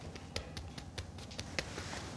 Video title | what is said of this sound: Recette de Pizza bread dips - 750g | Quand on veut savoir si elle est cuite, on on la tapote et quand ça sonne creux